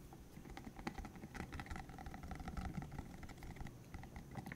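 A green, hollow silicone cylinder about 15 cm long with rubbery spikes is held in the hands while fingertips flick the spikes, squeeze it and rub it. The result is a quiet, steady patter of soft, dense clicks and taps with a low, muffled body and brief bright flecks, each sound dying away almost at once.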